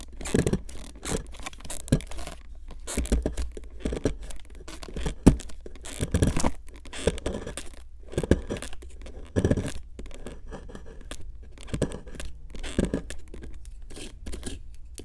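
A fine metal pick, held with long nails, scratches and picks at a solid pink plaster dig block from a Brachiosaurus 3D excavation kit, working around the fossil area while the block sits in a plastic tray. Dense, dry scraping and scratching comes in short irregular bursts with sharp clicks, mostly low and muffled with little ring.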